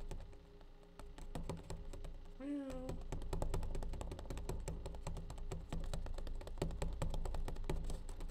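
A plastic bleach tray is tapped with rapid, irregular clicks that ring briefly over a low steady hum. A short rising-and-falling tonal sound appears near the three-second mark, then the tapping continues in dense bursts.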